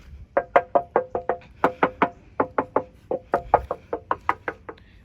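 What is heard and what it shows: A steel body panel of a Vespa Primavera Yacht Club limited-edition scooter, whose body serves as its frame (monocoque), is knocked on 21 times in quick succession. Each knock is a short, dry, hollow tap with a midrange ring near 830 Hz that dies away almost instantly, showing the body is metal.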